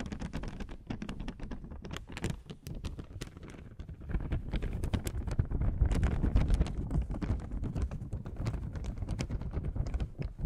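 A thin beige paper oil blotting sheet is handled, scratched and rubbed with long nails close to the microphone. It makes dense, irregular crackling and scratching taps over a heavy low rustle, and the sound grows louder and fuller after about four seconds.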